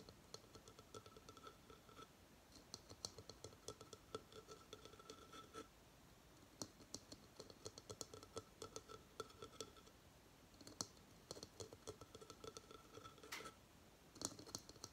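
Fingernails tap and scratch the top of a hard, hollow coconut shell hamster hideout with bedding inside, held on its side. Quick dry clicks and scratchy rasps with a high, bright edge come in bursts, separated by brief pauses. Each tap dies away almost at once.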